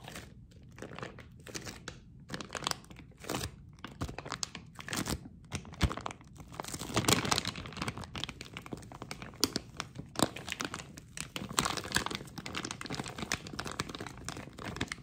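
A hand-sized, partly filled snack bag of flexible printed plastic film, blue and green, is pressed, crinkled and crumpled by fingertips and palm. Dense, fast crackling and crunching bursts follow one another with no pause, bright and broadband, each crackle dying almost instantly. The crumpling grows busier and louder in the middle of the clip.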